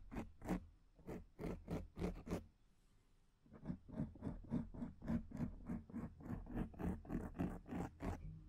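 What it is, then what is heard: Foam microphone windscreen being scratched. Fingertips and long nails scratch the sides of a black foam microphone windscreen, making about twenty quick, rough scratching strokes in a steady rhythm. The strokes are close and quiet, with a soft low rumble under bright, crackly bursts. There is a short pause about a third of the way through before the scratching resumes.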